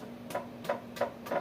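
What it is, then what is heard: Baked-through bread loaf (hollow sound). A homemade artisan bread loaf, just out of the oven, is tapped four times to check whether it is done. Each tap gives a short, dull, hollow knock centred around 570 Hz that dies away quickly. The hollow sound shows the loaf is baked through.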